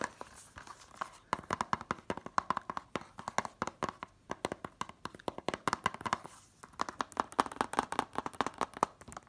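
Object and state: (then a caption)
Plastic DVD case. A hand-held, closed, hollow white plastic DVD case for *Catch Me If You Can* has its cover fast-tapped with long nails and fingertips. The result is rapid, dry, clicky taps with a bright plasticky tone around 1 kHz and almost no ring, coming in quick bursts with brief pauses.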